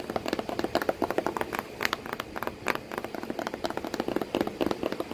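Long pointed nails tap and scratch on the flat flap of a corrugated cardboard box with a cat sitting in it. About 34 quick, dry, papery taps come in an uneven rhythm, mixed with soft scratching. Each tap dies away almost at once, with little low end.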